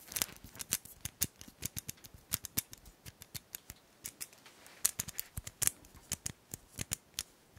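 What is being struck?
Small plastic combination padlock with metal shackle.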